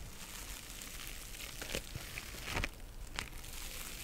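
Long nails scratch the textured surface of a small pink mesh-covered synthetic scrub sponge held in both hands. A steady, bright crinkly scratching runs throughout, with a few sharper crackling scrapes standing out near the middle and end.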